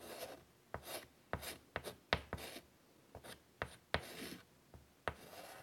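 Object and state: Chalk drawing on a chalkboard.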